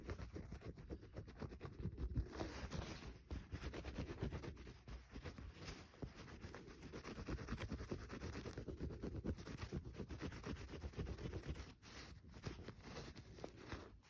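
Fingernails scratch and tap the surface of a small, solid green bar of soap held in the fingers over a paper towel. The sound is a quiet, steady stream of dense, dry scratching and soft tapping, mostly low and muffled. It continues throughout with only brief lulls, including one near the end.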